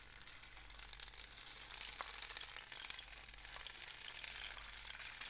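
A long, hollow painted cardboard rain stick, covered in paper and filled with pellets, is held in both hands with fingertips on its surface as it is tilted and turned. The pellets trickle through the tube in a steady, quiet, bright patter that sounds like falling rain, with faint tapping from the fingertips.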